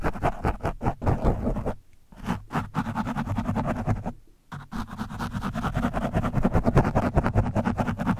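A screwdriver tip pokes and scratches the surface of an orange foam microphone windscreen. The result is dense, rapid, muffled scratching and thumping, heavy in low tones, with brief pauses near 2 and 4.3 seconds.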